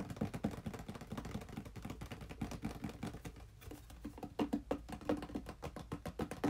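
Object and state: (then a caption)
Small cardboard box. A small, hollow, red printed cardboard controller box is held in both hands and turned while being tapped rapidly with fingertips and nails. Quick, dry, hollow taps with a low knocky body follow each other closely and die away almost instantly. The tapping softens briefly past the middle, then returns with louder, sharper hits toward the end.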